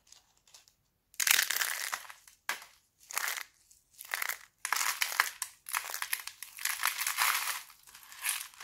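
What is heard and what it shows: Thin, brittle red sheets of dried laundry soap are squeezed and crushed in both fists, then crumbled with fingers into flakes. Dry, bright crackling and crunching comes in bursts separated by short pauses, mostly high-pitched with almost no low end. The bursts grow denser and more continuous toward the end.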